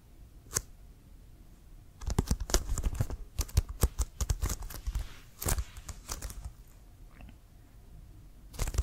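Fingernails tap and scratch on a hollow, inflated brown leather American football with a white stripe. One dull tap is followed by a quick flurry of dry, hollow taps and scratchy rasps with a deep, thumpy body. The sound then settles into faint scratching before a final burst of tapping.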